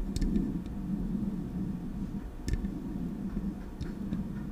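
Long acrylic nails tap the smooth metal body of a silver Blue Yeti microphone held in both hands. Sparse, sharp, bright clicks ring briefly over a steady, low, muffled hum that hovers around 200 Hz.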